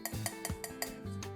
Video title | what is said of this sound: YESO TIPO 3: ¿Es tan DURO como dicen? 🔴 Prueba de Resistencia, Raspado y Pintura | how it sounds like stone, this is because piece 3 is already perfect